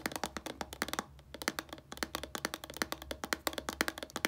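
Long painted nails tap and scratch a small, hollow white plastic shampoo bottle with a blue cap. About 29 quick, dry, clicky taps come with a hollow mid tone and bright edges, and each dies away almost instantly. The tapping eases into softer scratching for a moment near the one-second mark, then resumes.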